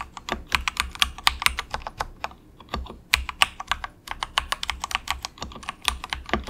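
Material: Plastic.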